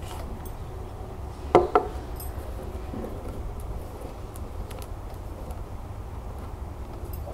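A small clear glass cylinder planter filled with soil, pebbles and a succulent is held in the hands and tapped and scratched on its glass wall with long nails. Two quick, bright clinks with a short ring stand out over a steady low rumble, and faint light scratching ticks follow.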